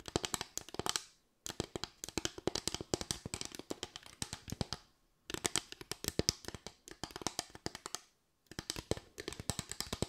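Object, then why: Bamboo slatted board. Long white nails tap and scratch across a solid bamboo slatted board, a flat wooden board with raised parallel slats. Quick, dry, bright clicks come in dense rapid runs, with four bursts separated by brief silences. Each click dies away almost instantly.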